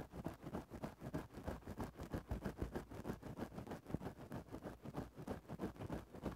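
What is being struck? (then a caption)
Synthetic-fur microphone windscreen scratched with a thin stick. A thin bamboo stick scratches and pokes into a grey synthetic-fur windscreen over a microphone, making close, muffled, bassy rustling strokes. About 18 short scratches repeat at roughly three per second in an uneven rhythm, with very little bright content.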